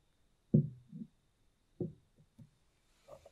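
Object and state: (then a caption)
Mosaic glass candle holder. A small, round, hollow white mosaic-glass votive holder with a lit candle inside is held in one hand and rapidly tapped and scratched with long nails. Dull, low, muffled taps come with very little ring, followed by softer taps and a faint, bright scratching at the end.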